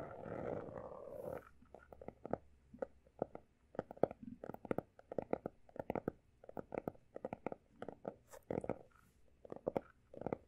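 Fingertips of both hands rapidly tap and scratch the pale blue embossed cover of a closed, solid textured hardcover notebook. A soft, dense scratching rustle opens the clip, then gives way to quick clusters of short, dry taps with a mid-range, papery knock and almost no ring between them.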